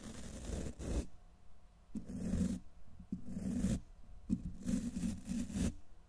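The black plastic bristles of a wide tint brush are raked across the side of a silver condenser microphone's hollow steel wire-mesh grille in four slow, uneven strokes. Each stroke makes a close, heavy, scratchy rasp with a strong low rumble and brief bright hiss. Short quiet gaps fall between the strokes, and the last one is the longest.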